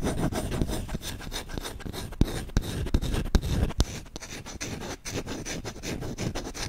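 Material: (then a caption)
Wood. Short-nailed fingertips scratch fast across the bowl and handle of a solid wooden spoon, making a continuous dry, rasping scrape with a heavy low rumble. Several sharper clicks stand out midway before the scratching settles back into a steady rough rub.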